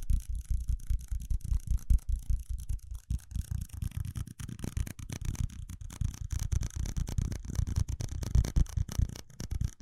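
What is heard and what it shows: Fingertips and nails tap and scratch the side of a small, hollow, empty red ridged plastic cup held in the hand close to the microphone. The result is a rapid, uneven run of short, dull, low thumps with faint bright scratchy rasping on top, and no ringing after each hit.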